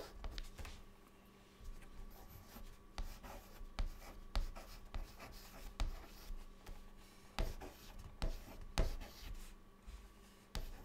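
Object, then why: Chalk stick on a chalkboard. A white chalk stick held in the fingertips writes words on a flat, solid, dark chalkboard. It makes a quiet, irregular series of short, dry scratches and taps, with brief pauses between strokes. A faint, steady low hum sits underneath throughout.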